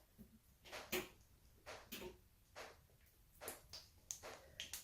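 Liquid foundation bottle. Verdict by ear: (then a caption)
Nearly empty. An opaque liquid foundation bottle is shaken, giving eight short, bright sloshing and rattling bursts of the little liquid left inside. The hollow sound shows a lot of empty space, so the bottle is nearly used up.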